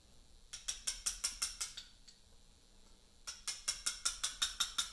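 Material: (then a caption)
Limestone. A mallet drives a steel chisel into a large solid Portland limestone memorial block, tapping to carve letters. Nineteen sharp, bright, clicky taps with very short ring come in two steady runs at a brisk pace, separated by a quiet pause of about a second and a half.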